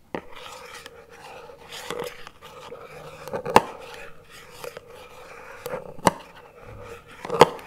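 Two wooden chopsticks are scraped and tapped across the lid of a small plastic chocolate spread tub lying on its side. Soft, steady scratchy scraping runs throughout, broken by a few sharp, short, hollow-sounding clicks that die away almost instantly.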